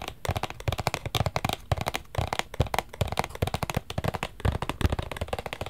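A small, hollow, black rigid cardboard Versace gift box is held in both hands and tapped and scratched with fingertips and nails. A quick, uneven run of dull, hollow low thumps mixes with dry scratchy clicks, each dying away almost instantly with no ring.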